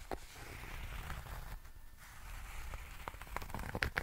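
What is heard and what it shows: A small rectangular zippered nail clipper case, covered in grey herringbone tweed fabric over a firm hollow shell, is held in both hands and scratched and rubbed with fingertips and nails. Soft, dry scratching and crackling runs over a low rumble, briefly quieting near the middle. Sharper bright scratches and clicks pick up toward the end.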